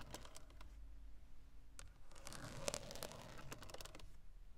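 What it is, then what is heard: Plastic steering wheel airbag cover. Long acrylic nail tips scratch and tap the textured black plastic centre pad of a VW steering wheel, the large hollow airbag cover. Quiet, sharp clicks and dry scratching strokes follow each other quickly, with a louder cluster of taps near the middle, over a low background rumble.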